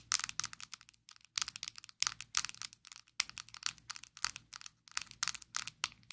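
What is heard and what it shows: Long acrylic nails tap rapidly on a closed, small, square, black plastic Maybelline Fit Me loose powder jar held in both hands. The result is bursts of sharp, bright, dry clicks with brief pauses between them. Each tap stops almost instantly with no ring.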